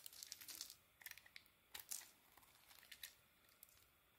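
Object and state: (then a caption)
Bar of soap being shaved. A small metal blade shaves curls off the edges of a yellow-orange bar of soap. The result is quiet, bright, crisp scraping and crinkling in short bursts, with little low end and brief pauses between strokes.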